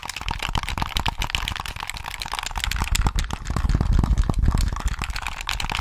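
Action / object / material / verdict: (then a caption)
tap / hollow plastic handheld game controller / plastic / none. A handheld hollow plastic Sony PS3 gamepad, held in both hands close to the mic, has its shell tapped by fingertips while its buttons and triggers are clicked. The result is a rapid, steady stream of short, dry taps and clicks with a hollow, low thump beneath bright plastic clicks. The clicks cut off almost instantly, and the tapping grows slightly louder in the second half.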